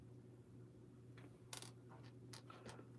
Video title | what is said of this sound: SMKR Studio Agora Models IRL is live! | the rod itself sounds like metal